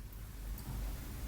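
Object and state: Nothing is struck.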